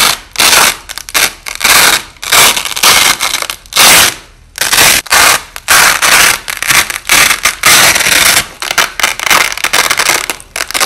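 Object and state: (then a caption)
Nylon hook-and-loop tape being ripped apart. Hands pull apart strips of white nylon hook-and-loop (Velcro) tape and press them back together, with the sound slowed down. It comes as a series of loud, bright, crackling rips separated by short quiet gaps, mostly high in tone with almost no low end.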